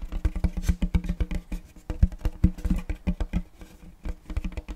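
Fingertips tap and drum rapidly across the surface of a large round checkerboard wooden tray held upright. A quick, uneven stream of short, dull, low knocks, each dying away almost at once, with brief quieter pauses between bursts.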